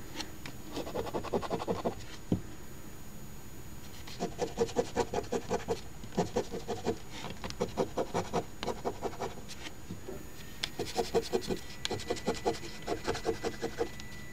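A coin pinched in the fingertips rubs and scratches the latex coating along the top rows of the grid on a flat Ontario OLG $10 Crossword Deluxe instant scratch lottery ticket (#3354) lying on a table. Quick bursts of dry, gritty scraping come in short runs separated by brief pauses, with a steady faint high hiss underneath.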